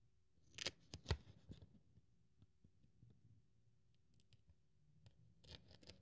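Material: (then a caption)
Polyethylene foam. A metal craft-knife blade cuts a thin white polyethylene foam sheet into strips, held with long-nailed fingers, with cut-off strips lying beside it. Sharp, bright scratching slices and clicks come in brief bursts near the start, then give way to quiet low rustling and a few soft taps before a final flurry of cutting scratches at the end.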